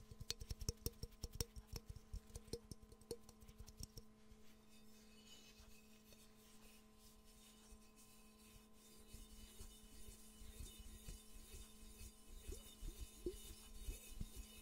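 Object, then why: Glazed ceramic mug. Fingertips and nails rub and scratch over a hollow, empty, yellow glazed ceramic Pikachu mug. Quick, sharp clicking taps fill the first few seconds, then give way to quieter, continuous scratchy rubbing that grows busier and brighter toward the end. A steady low hum sits underneath throughout.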